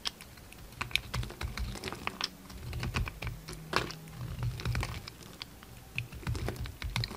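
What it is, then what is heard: Bar soap being shaved. A red utility knife shaves and cuts a solid pink bar of soap with remnants of a purple glitter coating. A rapid series of crisp, dry scraping clicks and short bright ticks rides over a steady low hum. Each click stops almost at once, with no ring.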